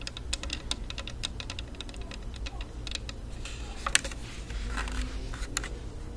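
Long nails tap rapidly on a hollow, black, rectangular plastic and rubberized Bluetooth speaker held in both hands. They make a stream of short, dry, bright clicks over a steady low background hum.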